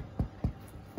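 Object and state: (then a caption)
Hollow-sounding baked bread loaf, done. The bottom of a homemade bread loaf is tapped three times after about 25 minutes in the oven, giving short, low, hollow thuds that die away quickly. The hollow sound shows the loaf is baked through and ready to cool.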